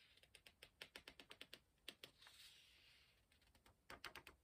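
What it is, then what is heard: Paper pages of a book being flicked. Fingertips rub the edge of a thick paper page of a large hardcover book lying open and flick it while turning it. The result is a quick run of soft, bright paper ticks, a smoother airy swish of the page sweeping over, then more crisp flicks. The sound is quiet and high-pitched, with almost no low end.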